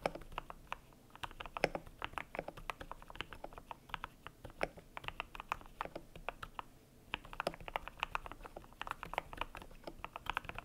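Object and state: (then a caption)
Mechanical keyboard with PBT plastic keycaps. A cream compact mechanical keyboard with PBT plastic keycaps is typed on with the fingertips, producing a steady stream of short, crisp plastic clacks with almost no ring. The typing stops briefly near the middle, then resumes at the same quick, even pace.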